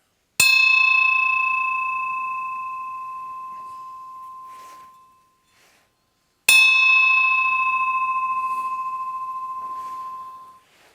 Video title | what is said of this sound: What really caused the Liberty Bell to crack | The second bell that actually rang, sang out, was the 80-20.